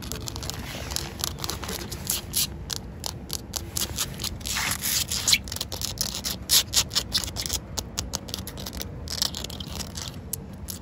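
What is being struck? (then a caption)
Concrete pavement. Long acrylic fingernails scratch solid outdoor concrete pavement that is partly wet, making bright, gritty rasping strokes in quick, uneven bursts. The scraping is dense and hissy, with a steady low rumble underneath and a few louder scratches near the middle.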